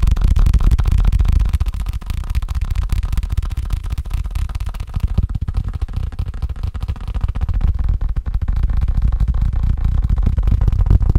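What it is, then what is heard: Faux leather case fast-tapped. A faux leather case is tapped quickly and continuously, making a rapid stream of dull, muffled thuds. The taps are low and soft with no ringing, blending into a steady rustling patter throughout.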